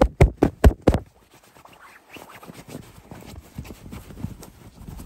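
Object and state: Fabric throw pillow.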